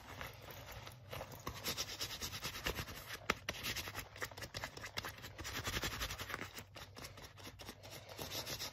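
Fingertips and nails rub and scratch the forearm sleeve of a worn black leather jacket, making a steady, dense, bright scratchy rustle with quick crackling strokes. One sharper scratch stands out near the middle.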